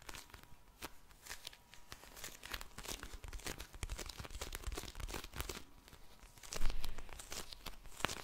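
A soft, full pink vinyl eye mask filled with gel beads is tapped, squished and scratched with long painted nails. The result is quiet, dense crinkling and crackling full of quick bright clicks over a low rumble, swelling briefly louder near the end.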